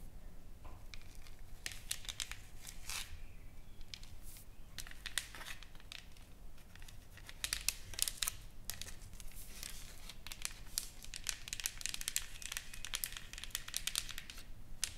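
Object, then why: Painted wooden plaque. Long nails and fingertips tap and scratch across a solid, flat painted wooden plaque, a sign board with carved lettering and painted flowers lying on a table. The result is a quiet, dense stream of crisp, dry ticks and scratchy crackles with no ring, growing busier and brighter in the second half.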